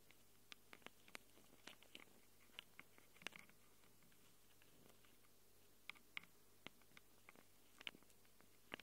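Long glitter nails scratch and tap the metal mic capsule rings of a small black handheld Tascam recorder with metal mic capsules. Quiet, bright clicks and short scratchy ticks come in uneven bursts over a faint steady low hum, each one dying away almost instantly.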